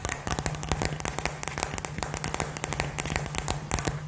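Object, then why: Glass globe with glitter. Long nails tap and scratch a hand-sized hollow light-up glass globe filled with gold glitter and fairy lights, held in both hands. Quick, dry clicks and crackly scratches come in a fast, irregular stream, each hit bright and sharp with almost no ring. A faint low steady hum sits beneath them.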